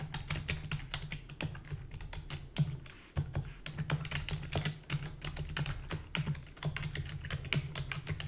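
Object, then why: Plastic computer keyboard. Rapid typing with long fingernails and fingertips on a full-size black plastic keyboard with a hollow body gives a fast, steady stream of sharp, bright clicks over a constant low hum. The clicks briefly thin out around the three-second mark, then resume at the same quick pace.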